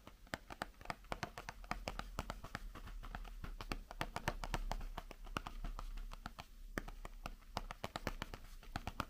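Long painted fingernails tap rapidly on a small cardboard Halloren chocolate box held in one hand. Dense, uneven runs of sharp, dry clicks with bright tops die away almost instantly over a steady low hum.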